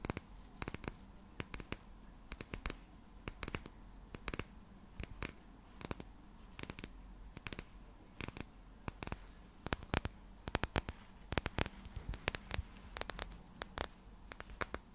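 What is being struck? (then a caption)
Small square glass bottle partly filled with liquid. Long nails tap and click on a small square glass bottle with a small cap, partly filled with purple liquid, close to the mic. Dozens of sharp, bright clicks come in irregular bursts across the clip, each dying away almost instantly. A quiet low hum sits underneath.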